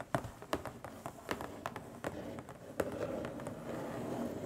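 Long stiletto nails tap and scratch across the lid of a long, flat, printed Diamond Art Club cardboard box lying hollow on a table. Sharp, quick-decaying hollow taps with a papery tone near 540 Hz alternate with soft scratching that grows into a steadier rustle toward the end.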